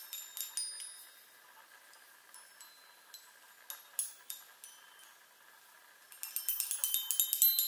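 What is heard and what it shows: Long nails tap the hollow metal tubes of a small handheld chime on a wooden frame. Bright, high metallic tinks ring briefly and spread out with quiet gaps, then break into a fast, louder flurry of taps at the end.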